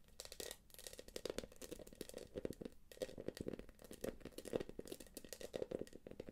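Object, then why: Quilted plastic purse. Long nails scratch and tap the quilted surface of a small, hollow, light-blue glossy plastic purse with a gold clasp. The result is a steady stream of quick, dry, crinkly scratches and clicks with a mid-range tone. Each one dies away almost instantly.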